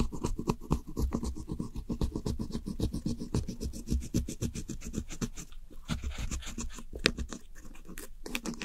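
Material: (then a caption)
Pressed powder. A metal pick with a pink handle scratches the blue and grey pressed eyeshadow pans of a round plastic compact palette, crumbling the powder so it spreads around. Rapid, uneven, dry scratching strokes, about four per second, sound close and low-heavy with brief bright edges and no ring.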